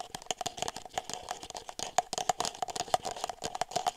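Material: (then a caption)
Plastic. An empty red-and-white disposable plastic party cup, hollow and thin-walled, is held up close and tapped and scratched with long silver nails on its ribbed sides and rim. Quick, dry clicks and scratchy crinkling follow one another in a busy, uneven run, each tap carrying a brief hollow plastic tone around 730 Hz with bright, high edges and almost no low end.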